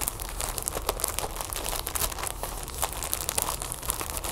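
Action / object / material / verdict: tap / sealed plastic package with folded plastic sheet / plastic / none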